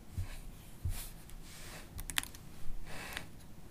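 Long acrylic nails and fingertips type on a MacBook Pro keyboard with black plastic keys in an aluminium body. Soft dull taps mix with bright, sharp nail clicks that die away almost at once, over a low steady background rumble.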